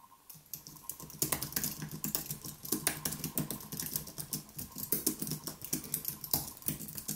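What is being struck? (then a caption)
Plastic-key keyboard with aluminium body. Both hands type rapidly with their fingertips on a white, low-profile Apple Magic Keyboard with plastic keys on a thin, solid aluminium body, lying flat on a wooden desk. A steady stream of quick, light, bright clicks comes through, each with a soft low thump underneath, and the keystrokes overlap at an even pace throughout.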